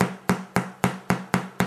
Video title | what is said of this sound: Irish Brown Soda Bread | listen to the sound it makes when you tap it on the bottom ... it should make a hollow sound